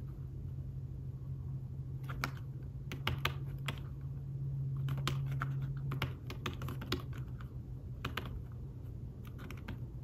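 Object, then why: Fabric-covered tablet keyboard. Fingertips tap the keys of a thin fabric-covered tablet keyboard case while typing, producing soft, bright, dull clicks in irregular bursts and pauses. A steady low hum runs underneath throughout.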